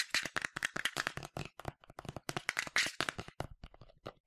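Fingernails tap quickly on the side of a medium yellow plastic sunscreen spray bottle with a translucent cap, hollow and partly filled. About two dozen short, dry, bright clicks come in a rapid, uneven patter, each dying away almost at once with no ring.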